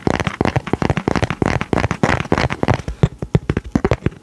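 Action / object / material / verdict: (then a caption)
tap / laminated paper card / coated paper / none. Fingertips and nails tap and scratch the flat surface of a thin, coated, laminated paper card with a diver illustration, held in both hands. About two dozen quick, close, dull taps come in a rapid, uneven run, mixed with faint scratchy friction, with mostly low, thumpy body and little brightness.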